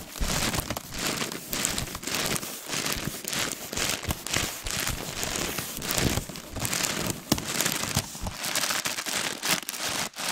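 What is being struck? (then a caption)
Rolled crepe paper. A long, hollow, light roll of pink crinkled crepe paper is held horizontally in front of the mic while long nails and fingertips scratch and rub along its textured surface. This makes a steady, dense, bright crinkling and crackling rasp that swells and dips with each stroke.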